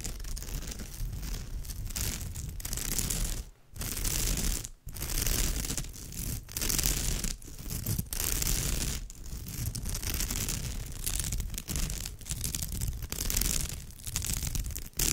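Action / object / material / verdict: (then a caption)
scrape / woven straw bag / straw / none. Long almond-shaped fingernails on both hands scratch across the flat, fabric-like surface of an orange woven straw or raffia bag with grey stripes. The result is a steady, dense, rough scratching and rustling with a strong low rumble and a bright hiss on top. It is broken by a few brief near-silent pauses.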